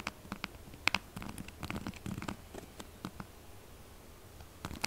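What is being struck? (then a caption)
Textured soap bar. Long nails scratch fast across the gouged, textured face of a solid pink soap bar. The result is a rapid run of dry, gritty scratches and sharp bright clicks over a soft, rustling low texture, with louder taps near the start and end.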